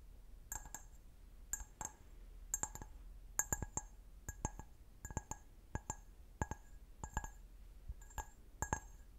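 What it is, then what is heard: Glass wine glass. Fingernails tap and scratch the foot of a clear, medium-sized, empty, hollow stemmed wine glass. Quick bright clinks come in small clusters, each dying away almost at once against a faint scratchy hiss.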